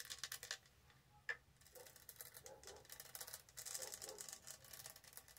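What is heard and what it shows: Fingernails tap and rub over the textured surface of a tall, hollow, studded plastic tumbler. Quiet, bright clicking and scratchy rustling come in quick bursts, with one sharper tap standing out near the start. Each tap dies away almost instantly, with no ring.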